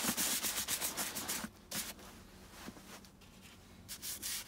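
A round wooden-handled bristle brush scrubs back and forth over the sudsy, lathered foot section of a tall, tan, hollow, empty leather boot. Rapid, bright, scratchy bristle strokes come in quick bursts, then ease into a quieter soft hiss before a final run of brisk scrubbing.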